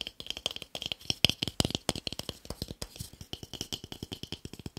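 A small, solid, pale wooden cube held in one hand is tapped quickly with fingertips and short nails. The result is a rapid, dense run of dry, clicky taps with almost no ring, centred on a bright tone around 3.2 kHz with little low end.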